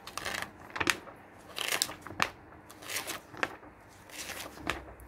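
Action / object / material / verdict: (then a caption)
scrape / glossy paper magazine pages / paper / none. Fingers flip and squeeze the thin glossy printed pages of an open, medium-thick magazine lying on a wooden table. The pages crinkle and rustle in irregular, bright bursts with sharp crackly peaks and very little low end, separated by quiet gaps.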